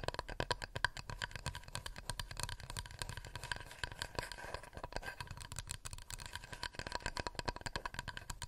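A wooden plate is tapped rapidly with fingernails in a steady, dense flurry of light clicks. Each tap is short and dry with no ring, carrying a faint low knock beneath a clear tone of about 1.6 kHz and a bright clicky edge, all at a soft, even level.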